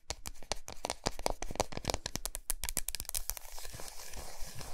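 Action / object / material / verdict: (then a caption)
tap / solid milk chocolate bar / chocolate / none. Long nails tap and scratch the flat, smooth back of a large solid milk chocolate bar resting on a towel. A fast run of dry, sharp clicks and taps is heard, each with a crisp bright edge and almost no ring. The taps then give way to denser, continuous hissy scratching.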